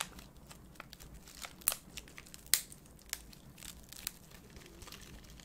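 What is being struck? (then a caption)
Foil-lined paper candy sachet. A small Peta Zeta popping-candy sachet of printed foil-lined paper is held up and crinkled and squeezed with fingertips and painted nails close to the microphone. Quiet, bright crinkling and crackling runs throughout, with a few sharper, louder crackles standing out.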